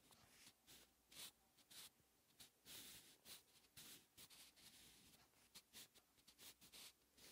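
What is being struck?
Paper notebook page with graphite pencil.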